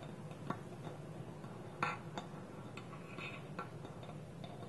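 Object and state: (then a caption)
Wooden bowl with lid. Slow fingertip and nail taps land on a small, round, hollow, polished wooden bowl, empty, with its wooden lid held tilted against it. Six soft, dry knocks sound at uneven intervals, each fading quickly over a steady low background hum.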